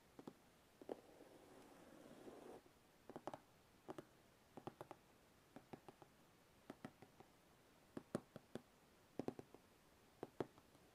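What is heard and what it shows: Fingertips tap and lightly scratch along the top of the closed lid of a large, hollow, white glossy cardboard box. A soft, steady scratching rasp runs for about two seconds near the start. Around 25 quiet, hollow, short taps follow, spaced unevenly in small clusters.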